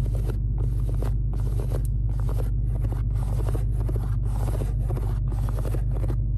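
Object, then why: Perforated leather car seat. Long acrylic nails rapidly scratch and tap on a large, padded black leather car seat with smooth and perforated panels inside a Charger Hellcat. Short bursts of crisp, papery scratching start and stop in quick succession over a steady low hum.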